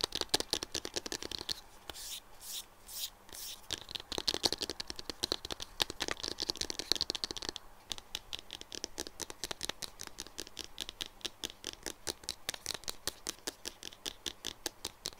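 Fingertips and nails tap rapidly on top of a light green silicone phone case lying flat on a desk. The result is a fast, continuous stream of crisp, bright, dry ticks and clicks with almost no ring, with a few brief scratchy brushes early on.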